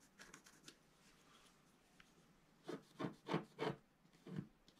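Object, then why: Black-coated scratch art paper sheet scratched with a wooden stylus. A pointed wooden stylus scratches a thin, flat A4 scratch art sheet with a black coating over a colored foil layer. The sheet is taped to a table and held flat by the other hand, and a small lifted paper piece sits near its top. Faint, light scratches open the clip, then about five louder, separate dry scraping strokes with a low rasp follow in the second half, each stopping quickly with little ring.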